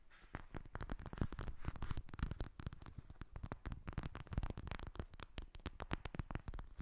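Long red nails tap and scratch the bumpy surface of a flat pink gel-filled eye mask with plastic beads lying on a glass table. The result is a rapid, continuous run of soft, dull taps that die away almost instantly, with a low, thumpy weight and faint scratchy texture between them.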